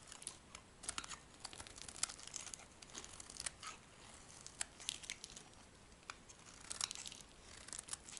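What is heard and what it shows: A metal blade scrapes curls off a dry, light green solid bar of soap. Quiet, crisp, bright scraping strokes crackle and tear with sharp little clicks, with almost no low end and no ring after each cut.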